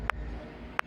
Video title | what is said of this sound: Хундай Акцент масляный фильтр ауыстыру/ Hyundai Acctnt,замена масленый фильтр | Questo è il suono del filtro con olio